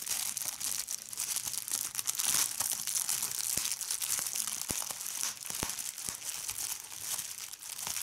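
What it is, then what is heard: Plastic bubble wrap being crumpled and popped. Fingertips with red nails squeeze and crumple a large sheet of clear plastic bubble wrap, popping its bubbles. A steady, bright crinkling hiss fills the clip, broken by many sharp, short pops with almost no low-end weight.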